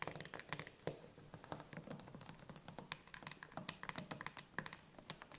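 Long nails rapidly tap and scratch on the metal lid and pull ring of a closed, full chickpea tin can standing upright. The result is a quiet, fast patter of dry, bright clicks with a faint low body and almost no ring, mixed with brief scratchy rasps between the taps.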